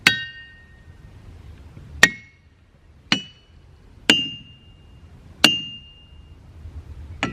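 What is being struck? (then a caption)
Boulder struck with a hammer. Boulders in the boulder field at Ringing Rocks County Park are struck with a hammer, producing six separate sharp strikes. Each strike gives a clanging, bell-like ring: the first tones sit near 1.9 kHz and 1.5 kHz, later ones ring higher near 3 kHz, and each decays over about a second against a quiet outdoor background.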